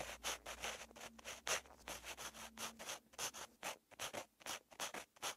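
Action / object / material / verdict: scrape / pen tip on paper notebook page / paper / none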